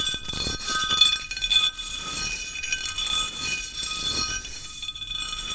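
A small, flat, solid square sheet of white ceramic mosaic tiles with a grid of grooves is held tilted in one hand and tapped with the fingertips of the other. The taps give a steady run of bright, glassy clinks with a clear tone near 3.5 kHz and very short ring, with almost no low end.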